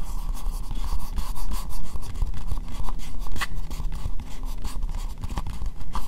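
An empty, hollow, translucent pink plastic bowl is held upside down and tapped with long nails. The result is a quick, steady run of light clicky taps over a hollow, low thud, with short bright ticks on top of each tap.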